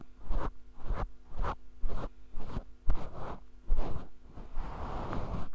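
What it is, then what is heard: Faux fur microphone windscreen being scratched. A grey synthetic-fur windscreen (deadcat), a hollow fluffy cover over a small handheld mic held in one hand, is scratched and rubbed with the fingertips and nails of the other hand. Repeated bursts of muffled, rumbling scratching swell and fade with short gaps between them. The sound is deep and boomy, with almost no bright content.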